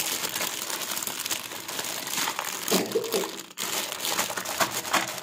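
Fingertips and palms press, rub and handle a thin clear plastic film bag with a printed header strip, still sealed around a pink and blue plastic toy kitchen set. A dense, bright crinkling runs throughout, with a few louder crackles and a brief quiet gap partway through. The bag is then held up and set down on a fabric surface.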